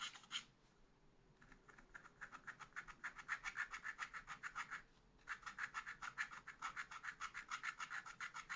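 A wooden stylus scrapes short, quick strokes across a black-coated scratch art paper page in a small spiral pad. Dozens of bright, dry scratches repeat in a steady rhythm, with brief pauses near the start and just before the five-second mark. Each scrape stops almost instantly with no ring, leaving a soft, crisp rasping texture.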